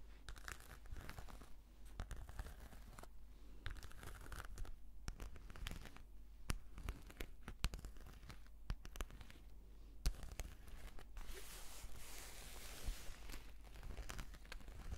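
Long nails slowly scratch across the surface of a black, glossy, embossed patent faux-leather brush case. The result is a quiet, steady stream of dry, crinkly rasps and short scrapes, broken by occasional sharp ticks and clicks, over a constant low hum.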